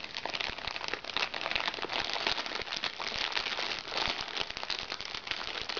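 A small, crinkly recycled plastic makeup bag is scratched with fingernails, then pressed flat and crinkled with both hands. The result is a steady, dense stream of bright, crackling plastic crinkles with quick snaps and almost no low end.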